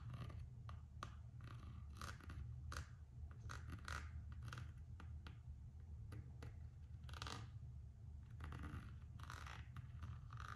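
Long acrylic nails scratch and tap the printed coated-canvas strap of a single, empty Gucci slide sandal made of coated canvas and rubber, while fingertips rub the strap. Quiet, dry scratching and sharp little clicks come in scattered bursts over a steady low hum.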